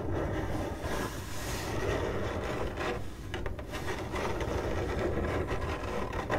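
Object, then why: Corrugated cardboard box. Long glittery acrylic nails on one hand scratch the surface of a hollow, printed corrugated cardboard box. The result is a steady, dense rasping scratch with a heavy low-end rumble and a brief softer dip partway through.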